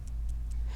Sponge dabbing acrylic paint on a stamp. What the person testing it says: You want to hear the paint a little bit.